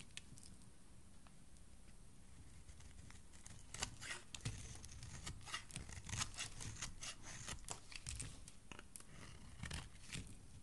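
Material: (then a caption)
Soap. A metal utility blade shaves thin curls off the edge of a solid green soap bar held by fingers with dark nails. Quiet, uneven crisp scraping and crunching strokes come in bursts over a low rumbling background, with bright, short cutting sounds that don't ring.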